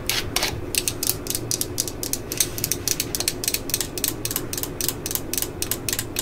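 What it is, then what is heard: Plastic cordless drill. Long nails rub and scratch the ribbed chuck and clutch ring of a yellow and black plastic cordless drill held close, and tap its plastic housing. The result is a rapid, uneven series of bright, dry clicks and scratchy ratchet sounds, each dying out almost at once over a faint low hum.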